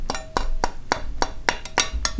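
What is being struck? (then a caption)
Metal warranty card tapped on a buckle. A thick-gauge metal Axios warranty card, packed in a watch roll, is tapped repeatedly against a watch strap buckle. Each tap makes a short, bright metallic clink pitched around 1 kHz that dies away almost instantly, over a low background rumble. The clinks make it plain that the card is metal.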